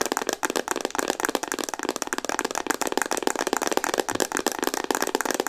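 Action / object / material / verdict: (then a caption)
tap / plastic instant camera body / plastic / none. Long nails tap fast across a hollow pink Instax Mini plastic instant camera. The result is a dense stream of short, dry, clicky taps with a hollow mid-range body and a bright edge, each tap dying out almost instantly.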